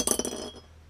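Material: Steel, glass.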